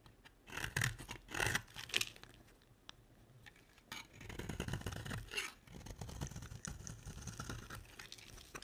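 A box-cutter blade scrapes and carves a solid, dry pink soap bar, peeling off curls. Short, bright, crackly scraping bursts come first, then a quieter pause, followed by a longer stretch of steady, gritty shaving.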